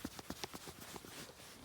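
A corroded metal bearing assembly on a 1987 Honda TRX 250X ATV is shaken, giving four quick, sharp metallic rattles followed by a faint clattering as the loose bearings move around inside. The bearing is worn out.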